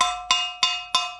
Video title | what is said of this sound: How to Grind Kiln Shelves and Pottery Pieces using a Dremel with Diamond Tips (Pottery Tutorial) | I'm just going to just tap it you can hear that it rings